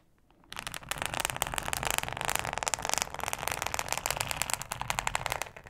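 Long acrylic nails scratch and tap a thin, flexible, solid yellow plastic cutting mat with a ribbed texture. After a brief quiet moment, a dense, bright, crackling scratch begins and continues steadily, with rapid sharp ticks as the nails rake across the ribs.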